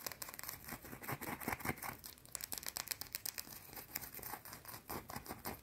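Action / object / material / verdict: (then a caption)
scrape / solid soap bar scratched with fingernails / soap / none. Long blue-painted nails rub and scratch a small, solid, round white soap bar. Quick, irregular bursts of dry, crackly scraping follow one after another, with a bright hiss on top and little low end. Each stroke stops short, with almost no ring.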